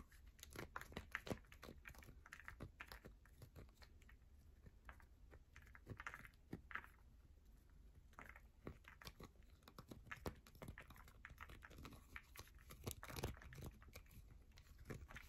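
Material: Soap.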